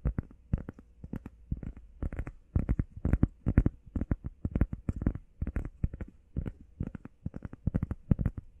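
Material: Foam.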